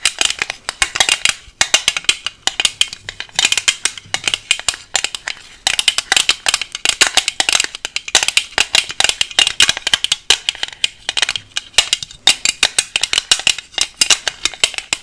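A small, clear, hollow hard plastic case that appears empty is tapped rapidly with long nails covered in paperclips. The result is a dense, continuous stream of sharp, bright clicks and light rattles with almost no low end. Each tap dies away almost instantly.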